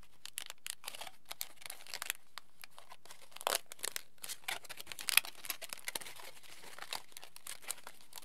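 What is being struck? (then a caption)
Thin aluminium foil sheet. A thin, crumpled aluminium foil sheet is held in both hands, unfolded and crinkled with the fingers. Dense, dry, bright crackles come in quick irregular bursts with no ringing, over a quiet background, and a few louder crunches stand out midway.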